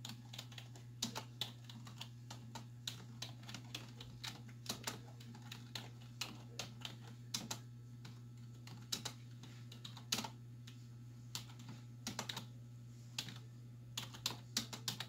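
Long white nails and fingertips type on a black plastic desktop keyboard with hollow keys, producing quick, uneven bursts of bright, hollow plastic clicks and taps. A steady low hum runs underneath throughout.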